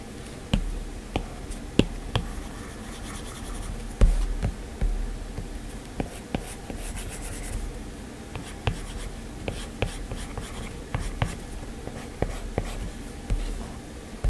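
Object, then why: Glass tablet touchscreen. A hard plastic stylus tip and fingertips tap and draw strokes across a flat, solid iPad glass screen, possibly fitted with a screen protector, as it lies on a desk. About sixteen dull, low, quiet taps stand out above a steady soft scratching and rubbing from the strokes, each tap dying away quickly.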